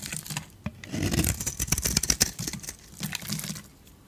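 A metal utility blade scrapes white crunchy shavings off a solid, rectangular, purple-coated dry soap bar with a white interior. Quick, irregular strokes make bright, dry crunching and scraping, with a low thump beneath some passes. The sound swells in the middle and fades toward the end.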